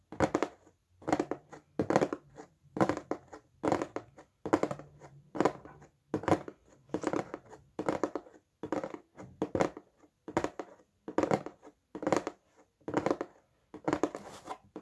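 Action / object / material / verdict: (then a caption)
tap / cardboard shoe box lid / cardboard / none. A large, hollow beige cardboard shoe box lid, held in both hands, is tapped with fingertips and nails. The result is quick clusters of dry, papery, hollow taps centered in the midrange, alternating between slower and faster bursts with brief pauses. Each tap dies away almost instantly with no ring.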